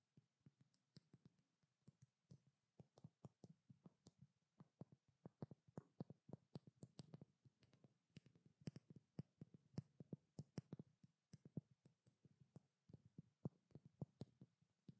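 A small cylindrical glass treatment oil bottle with a blue label and a silver cap is held in both hands and tapped with long black-painted nails. The result is a steady, uneven stream of quick, soft clicks with a dull, low body, over a faint, thin high tone. The overall level stays quiet.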